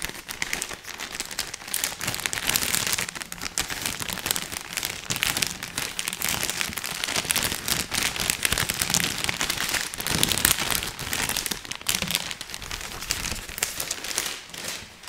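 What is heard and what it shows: A long cylindrical roll of colorful printed Christmas wrapping paper with a hollow core is handled, squeezed and rubbed with fingers. Dense, continuous crinkling and crackling fill the clip, bright and papery with little low end, rising and falling in loudness without a pause.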